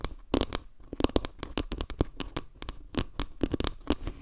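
Long nails rapidly tap and scratch across a solid, round board made of wooden log slices with dark center tiles. The result is a quick run of short, dry, low knocks with brief bright scratchy edges, each dying away almost at once.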